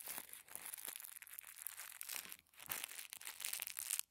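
Fingertips squeeze and crinkle a small folded packet of thin white tissue paper. The result is a steady run of soft, bright, papery crackles and rustles with almost no low end and no ringing.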